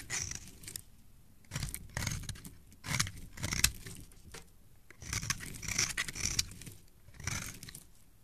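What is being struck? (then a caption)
Bar of soap scraped with a metal blade. A metal blade scrapes and shaves the surface of a solid, palm-sized beige bar of soap held in a hand with dark-painted nails, peeling off crumbly shavings. Short bursts of crisp, bright, gritty scraping come in uneven strokes with brief quiet gaps between them. Each stroke has a dull low rasp underneath.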